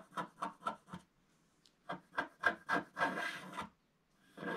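A wooden stylus scratches the lower roof area of a black, wax-coated scratch art sheet lying flat. Four quick dry rasping strokes are followed by a pause, four more strokes and one longer continuous scrape. A final scrape begins at the end.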